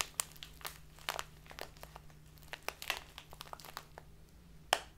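A tall, narrow clear plastic bag full of loose dried tea is squeezed and crinkled between fingers with long painted nails. It gives a string of sharp, bright crackles and crunches at an uneven pace, with a steady low hum underneath.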